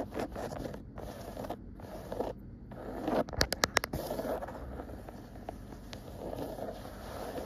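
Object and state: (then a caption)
Woven cotton rug, scratched. Long nails and fingertips scratch a cream woven cotton rug with dark dotted stripes, making a steady soft, bristly scraping texture. Midway, a quick cluster of sharper, brighter scratches rises briefly above the rest before the gentle scratching continues.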